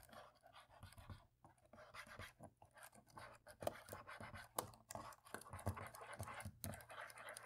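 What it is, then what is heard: Plastic laptop keyboard. A cotton swab scratches between the black plastic keys on the top right of a dirty laptop keyboard as it is cleaned. Quiet, dry scratching and rubbing comes with a steady run of soft, short ticks and taps that die away at once.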